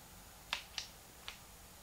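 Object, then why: Plastic handheld game console buttons. A small, hollow, translucent pink plastic Game Boy Advance is held in both hands while fingertips press and click its plastic buttons. Three short, sharp, bright clicks are heard, each dying away almost at once, over a faint steady background.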